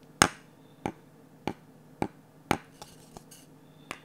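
A glossy orange varnished wooden ladle with an empty bowl is knocked and scraped with a wooden stick. Six sharp, dry knocks ring out at a slow, uneven pace, with a couple of fainter taps and soft scraping between them. Each knock has a bright click and dies away almost at once.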